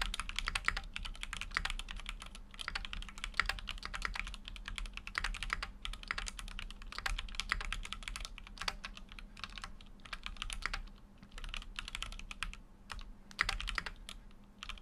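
Fingertips type continuously on a full-size Keychron Q6 mechanical keyboard with an aluminum case and plastic keycaps. Rapid, short, bright clacks run together in a steady stream, with a faint low hum underneath.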